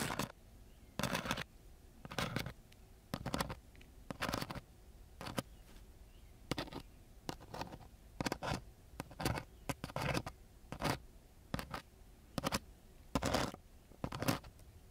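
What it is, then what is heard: Coarse sandpaper sheet. The metal tip of a black-gripped ballpoint pen scratches across a flat sheet of coarse-grit sandpaper. Its short, irregular strokes make bright, gritty rasps separated by brief quiet gaps, and each rasp cuts off quickly with almost no ring.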